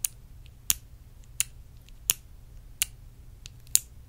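Long acrylic nails tap and scratch a small clear faceted glass perfume bottle held in the hand. Six sharp, bright, high-pitched clicks land at a steady pace, with faint scratchy ticks between them. Each click dies away almost instantly.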